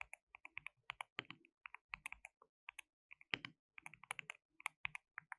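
Both hands type continuously with their fingertips on a compact, white-cased, hollow-cased mechanical keyboard with white and pink plastic keycaps and RGB backlighting. The result is a quick, uneven stream of short, bright plastic clacks that die away almost instantly. The sound is centered around 2.3 kHz, with almost no low end and some louder keystrokes standing out.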